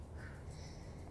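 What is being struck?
Nothing is struck.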